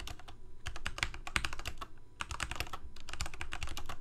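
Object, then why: Plastic mechanical keyboard. Rapid typing with the fingertips of both hands on a full-size black plastic Corsair mechanical keyboard with lit keycaps. It produces a dense stream of short, sharp key clicks with bright tops and a deep thocky low body, each dying away almost at once. The typing pauses briefly just before the two-second mark, then resumes at a steady pace.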